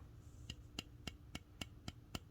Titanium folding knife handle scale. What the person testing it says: kind of sounds Hollow yeah especially over here